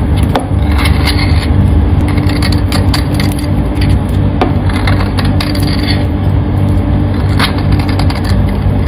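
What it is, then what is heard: Bar soap shaved with a knife. A metal kitchen knife shaves and scrapes crunchy flakes off a solid, hand-sized teal soap bar held in hands with long painted nails. Crisp, brittle scraping crackles repeat throughout over a steady, heavy low-frequency rumble.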